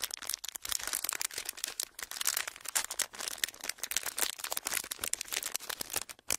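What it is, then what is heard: Clear plastic wrapper being crinkled. A folded clear plastic wrapper is held close to the microphones and squeezed and crinkled with the fingertips. It makes a dense, continuous run of sharp, bright crackles and pops with almost no low end. Each snap dies away instantly.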